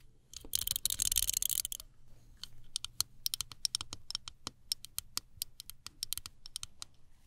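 Long nails scratch and tap a small folding travel hairbrush with a metallized plastic body, black plastic bristles and a hollow handle. A dense, bright scratching burst comes first, followed by a steady run of crisp, dry clicking taps. The sound is quiet and high-pitched, with very little low end.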